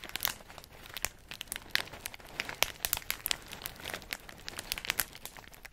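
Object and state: Plastic bag of pistachios.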